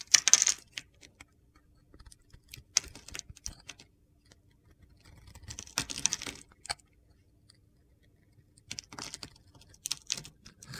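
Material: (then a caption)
Soap. A utility knife blade scrapes and slices the surface of a solid blue and pale blue bar of soap held in the hand. Short bursts of dry, bright, crunchy scraping come in uneven clusters separated by quiet pauses, with almost no low end and no ring after each cut.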